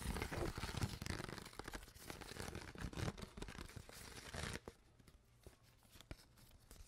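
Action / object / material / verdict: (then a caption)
scrape / ridged plastic water bottle / plastic / none. An empty, hollow, clear ridged plastic water bottle with a white cap and no label is scratched and squeezed with long nails along its ridges. The result is a dense, crackling crinkle for about four and a half seconds, after which it drops to quieter, scattered clicks and scrapes.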